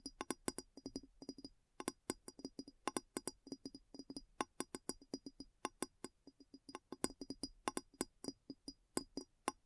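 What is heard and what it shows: A large, clear glass bowl sits upside down, hollow and empty, and is tapped around its base with long nails. About fifty quick, irregular taps come as crisp, dry clicks, each with a hollow, knocking body and almost no ring.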